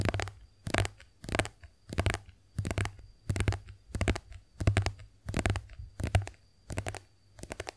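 Long acrylic nails tap and scratch a white, soft plastic squeeze tube of face wash cream that is hollow and partly filled, held upright in both hands. Quick clusters of crisp clicks and scratchy rasps repeat in bursts about every half second, each with a hollow, low thump and a short, dry decay. A faint, steady high tone runs underneath.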